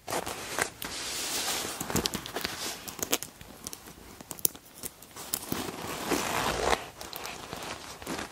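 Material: Leather.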